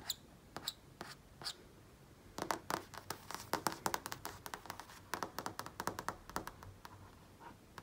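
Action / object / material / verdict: tap / flat-screen TV panel / plastic / none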